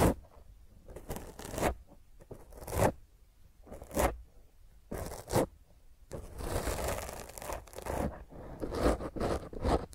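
A black foam microphone windscreen, cupped in both hands, is scratched with long fingernails. Rough, broadband scratching and rustling comes in uneven bursts with a muffled low rumble, turning denser and more continuous in the second half.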